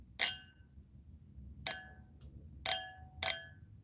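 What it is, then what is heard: Real crystal tumbler. Colored crystal drinking tumblers from a thrift store, made by a French company that mass-dyed crystal in the 1960s, are tapped four times. Each tap gives a bright, high clinking ring that dies away quickly, confirming they are real crystal.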